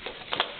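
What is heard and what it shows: A plastic Easter egg with an Elmo toy figure inside is shaken to hear what it holds. Two quick, bright plastic rattles stand out over a faint background, with a light click at each end.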